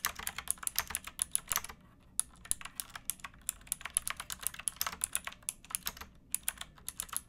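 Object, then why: Plastic mechanical keyboard. Fingertips with painted nails type on a pink backlit plastic mechanical keyboard with round keycaps and a hollow case, resting on a wooden box. Quick runs of bright, crisp key clacks with very short decay come in bursts, with a brief pause near the two-second mark and another shortly after six seconds. A faint low hum sits underneath.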